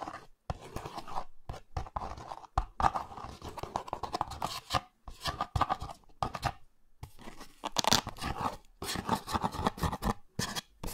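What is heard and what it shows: Fingertips and nails scratch and tap the surface and edges of a small printed cardboard box for Olay Retinol24 cream, held in one hand close to the microphones. Dry, papery scratching comes in quick bursts centered around 785 Hz with some low thump from the taps, separated by short silent gaps. Each stroke cuts off almost at once with no ring.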